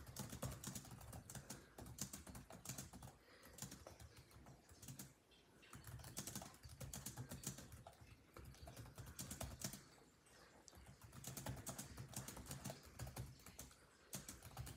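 Fingertips of both hands type rapidly on a built-in laptop keyboard with dark plastic chiclet keys set in a grey laptop body. Dense bursts of short, sharp key taps with bright clicks and a soft low thump underneath come in runs, with brief quieter pauses around 5, 10 and 14 seconds.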